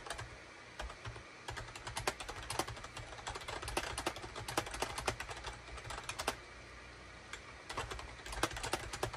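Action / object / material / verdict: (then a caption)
tap / plastic computer keyboard / plastic / none. Rapid typing with the fingertips of both hands on a full-size gray, cream and orange SHIPADOO K600 wired USB keyboard with a hollow plastic housing, resting on a desk mat. Quick, bright plastic clacks come in dense bursts with brief pauses, over a faint steady low hum.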